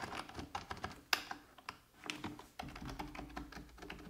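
Fingertips with red-painted nails type rapidly on a full-size black plastic computer keyboard resting on a wooden desk. Quick, bright plastic key taps come in an uneven stream, with one sharper, louder clack near the middle and a short lull before the typing resumes over a faint low hum.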